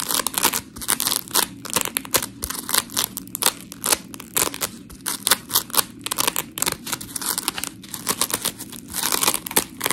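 A white rectangular scrub sponge block of coarse, gritty polymer foam is held between both hands while long pink nails scratch it and the hands squeeze it. Dense, bright, scratchy crackling comes in rapid bursts of short strokes, with dry crinkling and crunching and very little low end.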